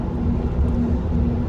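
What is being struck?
Nothing is struck.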